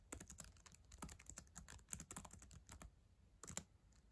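Long acrylic nails and fingertips type on the plastic keys of a solid black ThinkPad laptop keyboard. A quick, uneven run of sharp, bright clicks with soft low thumps underneath fades fast after each tap. A brief lull follows, then a final cluster of louder taps.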